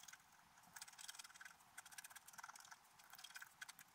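A wooden stylus scratches details into a flat, black-coated scratch art paper sheet, producing quiet, dry, bright scraping strokes in short bursts with no low end. The scratches come in quick irregular flurries with almost no ring after each stroke.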